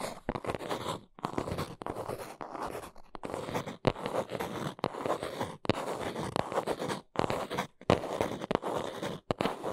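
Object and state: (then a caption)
Small cardboard box. A small brown cardboard box is held in the hands while long nails scratch and tap its sides. Bursts of dry, papery scratching alternate with sharp, quick taps, separated by brief silent pauses. The sound is mostly midrange, with a crisp brighter edge on the taps.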